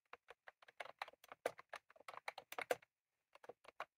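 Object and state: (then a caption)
Plastic mechanical keyboard. Both hands type rapidly with their fingertips on a full-size, retro-style plastic mechanical keyboard with round cream plastic keycaps and a plastic case, resting on a desk. It makes a fast, uneven run of short, dry, mid-pitched clacks with no low end and almost no ring. The clacks pause for about half a second before a final burst of keystrokes.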